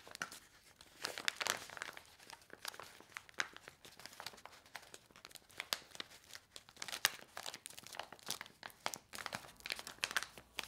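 Fingers with long nails fan, squeeze and flip a handheld stack of small, flat, laminated paper-foil sachets filled with dry soup powder. Quiet, bright, crisp crinkles come in irregular bursts with almost no low end. Each rustle stops sharply, with no ring afterward.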